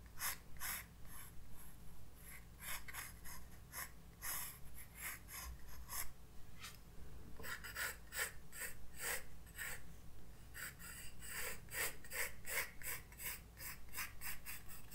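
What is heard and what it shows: A graphite pencil sketches lines on a white paper page of a spiral-bound sketchbook resting on a desk. Quick, irregular scratchy strokes sound about three times a second, with bright papery hiss in each stroke over a steady low hum.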